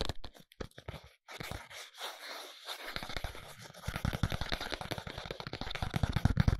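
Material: Paperboard.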